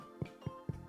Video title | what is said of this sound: Sourdough. From nothing to something beautiful and delicious. | it's Hollow that's the sound you want to hear you hit the bottom and it's Hollow